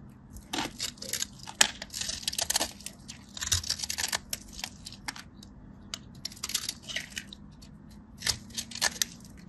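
A metal craft blade cuts through the scored cubes of a solid, dry white bar soap held in the fingers and scrapes across its surface. The result is a run of crisp, bright scratching and crackling bursts, clustered in groups with short pauses between them, over a faint low hum.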